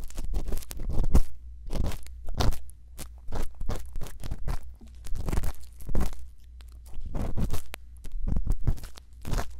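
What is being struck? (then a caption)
Silicone ear with bamboo earpick. A thin bamboo earpick makes small scratching strokes inside the ear canal of a silicone ear on a binaural microphone. Close, dry, crunchy scrapes come in short bursts with brief pauses between them, over a steady low rumble.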